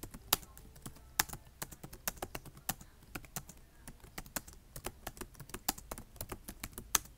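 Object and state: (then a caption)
Plastic laptop keyboard being typed on. Fingertips type on a black plastic laptop keyboard, tapping the keys in a rapid, uneven run of short, bright clicks. Each click is dry and dies away almost instantly, with a few sharper, louder taps standing out over a faint low hum.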